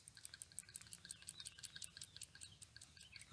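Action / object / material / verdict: shake / PCV valve with internal check ball / metal / working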